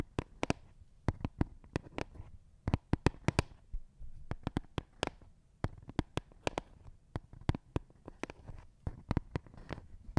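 Fingertips tap and scratch along the studded surface and edge of a thin, flat, green plastic Lego baseplate held edge-on beside the microphone. Some thirty sharp, dry clicks with a soft low thump land in uneven bursts, each dying away almost instantly. A faint scratchy rustle fills the gaps between them.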